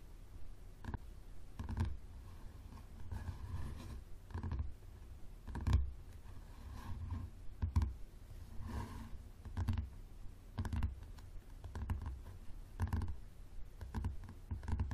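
Both hands tap the spine and cover of a thick yellow paperback book with a leather-like cover, lying flat on a wooden table as a solid stack of pages, using fingertips and short nails. The result is a steady run of soft, dull, low thuds with very short decay, and the occasional light click of a nail.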